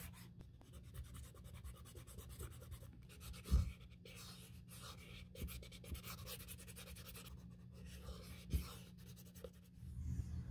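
The inner rim edge of an open, empty black grained leather Saint Laurent handbag is rubbed with a small strip of sandpaper held in the fingertips during a repair. Soft, quiet scratching and sanding rasps run over a steady low hum, with a couple of louder bumps standing out along the way.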